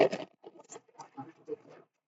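A box holding five marbles, two white and three black, is shaken so the marbles rattle inside. It opens with a loud burst of clattering, then a run of quieter, uneven rattles that stop after a little under two seconds.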